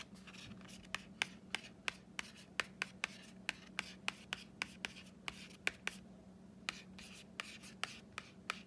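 Roughly two dozen sharp, high clicks with soft scratchy tracing between them. Each dies away immediately, with no ring or boom, as a fingernail on a stiff laminated cardboard cover would sound. A faint steady low hum sits underneath.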